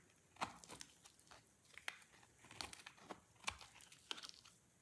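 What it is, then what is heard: Dry soap bar being shaved. A utility knife blade scrapes and shaves a solid, dry white soap bar with a ridged surface, and powdery shavings fall away. Quiet, crisp scraping and crunching strokes sound in short, bright bursts with almost no low end, each dying away at once.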